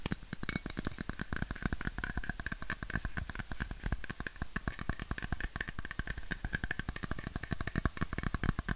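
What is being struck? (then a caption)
Aluminum drink bottle. A red, hollow aluminum Coca-Cola bottle, held sideways, is tapped rapidly with fingertips and nails along its body. The result is a steady stream of quick, dry clicks and taps with a low hollow thump beneath and bright metallic ticks on top. Each tap dies away almost instantly.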